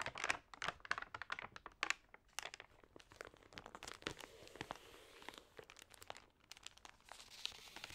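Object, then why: Thin paper magazine pages. Fingertips and nails rub and turn the damp, wavy pages of an open, water-sprayed thin paper magazine. The result is a quiet, dense run of bright, dry crinkling and crackling ticks with almost no low end and no ring.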